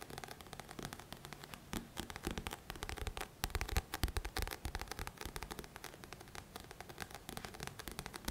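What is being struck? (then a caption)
Paperback book with coated card cover. A thick paperback book of solid paper with a glossy coated card cover is held in both hands while fingertips scratch and tap its front cover, the book shifting slightly. The result is a quiet, dense stream of dry crackling scratches and soft, short taps with a low thump underneath and bright grainy detail on top.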